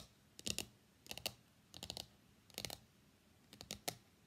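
Long nails and fingertips tap rapidly on the printed lid of a small, hollow, closed white cardboard iPhone X box lying on a desk mat, and the box is lifted at the end. Five quick bursts of bright, dry clicking taps come out, each dying away almost at once between short quiet gaps.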